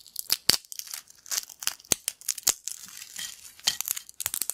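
Thin, crispy yellow corn chip pieces on a black plate are broken and crumbled by the fingers of both hands. The result is a rapid series of sharp, dry, bright crackles and snaps with almost no low end, each one cutting off instantly.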